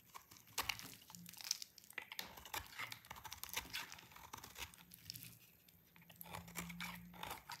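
A solid pink dry soap bar is cut and scraped with a utility knife blade, giving a rapid run of dry, brittle crunching and crackling scrapes that are bright and crisp. The brittle shavings come away in quick, short bursts over a faint low hum.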